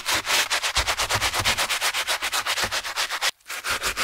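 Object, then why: Knit fabric running shoe upper scrubbed with a bristle brush. A gloved hand scrubs the foam-covered black and grey knit upper of a Skechers running shoe, with its foam sole edge, back and forth using a wooden-handled bristle brush. About 16 quick, bright, hissy scratching strokes come in a steady rhythm, with a brief silent pause near the end before the scrubbing resumes.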